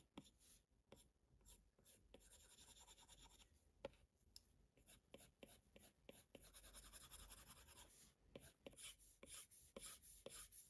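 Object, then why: Plastic stylus tip on a glass tablet screen. A plastic Apple Pencil tip rubs and scratches across the glass touchscreen of a large iPad Pro propped in a case, in quick coloring strokes. The quiet, dry scratching comes in rapid bursts with short ticks as the tip meets the glass, bright and hissy with little low end.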